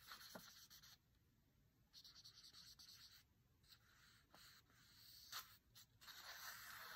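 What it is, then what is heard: Paper book page, fingertip scratching. Quiet, uneven strokes of a fingertip dragging and scratching over thick matte paper. Each stroke is a breathy, high hiss with a few sharper ticks. Nothing rings, just the dry rasp of skin on a paper surface.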